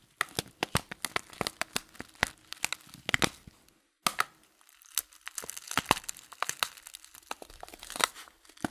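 Fingers crinkle and work the folded paper top of a loose-leaf tea packet, making a dense run of sharp, bright crackles and crinkles with a short pause near the middle. Each crackle is dry and stops almost at once, and the sound sits mostly in the mid and high range with very little low end.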